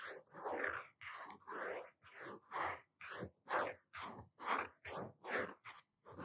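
Fingertips tap and scratch the blue cardboard cover of a medium-sized hardcover notebook, held upright with both hands and thumbs on the front. About 13 separate soft, dry scratching strokes follow one another at an uneven pace. The sound is mostly midrange with little low end.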